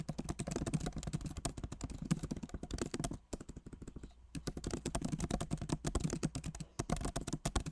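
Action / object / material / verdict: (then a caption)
tap / laptop keyboard with plastic keycaps in a metal body / plastic / none. Both hands type rapidly with the fingertips on the plastic keycaps of a backlit MacBook Pro Magic Keyboard set in an aluminum body. The result is a dense run of short, dull, low-weighted key taps. The typing thins and quiets for about a second in the middle before resuming at full pace.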